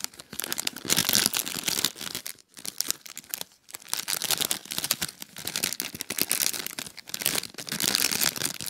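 A small, clear, thin plastic bag filled with popcorn is held, crinkled and squeezed by fingertips with short painted nails. It makes a dense, bright, high crackling that continues with almost no low end, pausing briefly near 2.4 and 3.6 seconds.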